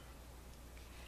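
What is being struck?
Nothing is struck.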